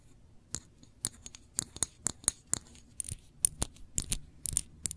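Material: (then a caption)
Glass. Long nails tap and scratch the label and glass of a small glass jar full of cranberry jam with a metal lid. About eighteen quick, irregular clicks and scrapes each sound bright and high and stop at once, over a quiet low background.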